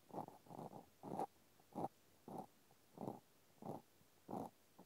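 A cotton swab scratches and pokes inside the round hole of a small pink plastic clothespin held in one hand. It makes a series of short, soft, dry scratching bursts at an uneven pace, muffled and centered in the midrange with almost no high end, separated by quiet gaps.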